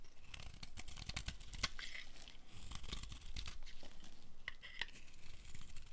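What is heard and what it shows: A metal blade carves crumbly pieces off a dry, blue-and-white striped bar of soap held in the hand. The result is a steady run of dry, crunchy scraping and crackling, with sharp, bright flicks over a soft low rumble.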